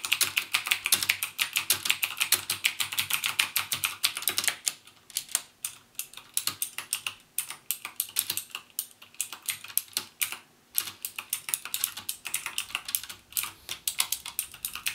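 Fingertips type on a backlit mechanical keyboard with plastic keycaps and Cherry MX Blue switches, using both full and half key presses. The result is a fast, uneven stream of sharp, bright clicks that end almost instantly: dense and continuous for the first few seconds, then looser with brief pauses between bursts.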